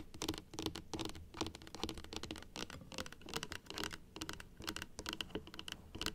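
Long acrylic nails tap rapidly on the teeth of a large plastic dental model resting on a table. The result is a quiet, dense, irregular patter of short, bright plastic clicks, each dying away almost at once, with a faint hollow tone in the low-mid range.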